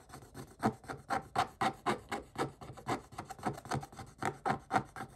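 A pointed wooden stick rapidly scrapes the flat coated paper page of a spiral scratch-art book, flicking up black shavings. About twenty quick, uneven strokes are heard, each a dry, short midrange scratch with a gritty rasp that stops almost at once.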